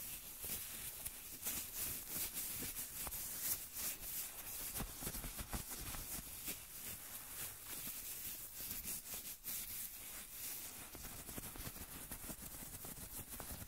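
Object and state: Nothing is struck.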